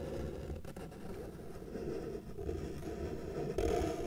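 A felt-tip marker held in the fingers is dragged across a flat white paper sheet lying on a table, drawing lines. It makes a steady, soft scratchy rubbing, with a brief dip partway through. A louder, fuller stroke comes near the end.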